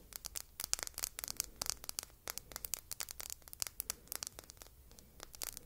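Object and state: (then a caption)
Glass perfume bottle tapped and scratched with fingernails. Long red nails tap and scratch a small red glass perfume bottle shaped like an apple with a silver metal cap, held in the fingertips. A rapid, uneven run of sharp, bright clicks and scratchy ticks with almost no low end, each dying away instantly.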